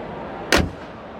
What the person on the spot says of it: dengerin suara kup mesinnya khas sekali